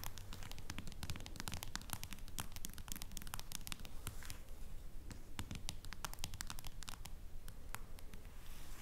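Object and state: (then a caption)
Smartphone back case tapped with fingernails. Long fingernails tap and scratch on the silver metal/plastic case back of a smartphone lying face-down on a wooden table, with one fingernail tracing across the surface. Quick, crisp clicks and bright scratchy strokes come at an uneven pace over a steady low hum.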